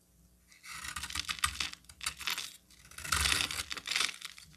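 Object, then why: Bar of soap cut with a metal blade. A hand-sized solid green bar of soap, held in one hand, is carved and scraped with a metal utility knife blade as shavings fall away. The sound is a crisp, bright, dry scraping and crackling that comes in several bursts of rapid, short strokes, with brief pauses between them.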